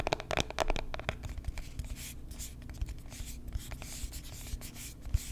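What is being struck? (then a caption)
Small cardboard box. Long nails scratch and tap the surface of a small, hollow white cardboard box held in the hand. A quick run of sharp, dry taps gives way to a steady scratchy rasp with scattered light taps over a low, hollow thud, ending with one firmer tap near the close.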